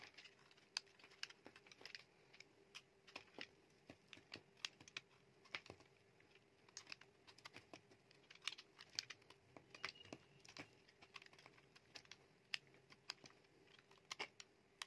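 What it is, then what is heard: Bar soap shaved with a knife. A metal utility knife blade shaves flakes off a solid, dry, palm-sized white bar of soap. Dozens of quick, crisp, dry scraping ticks sound bright and brittle, each ending almost instantly, over a quiet background with a faint steady hum.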